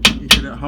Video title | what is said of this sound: How to Replace pinion seal in 8.8 ford rear end. | you hear that that solid sound. That's how you know that it's in there all the way.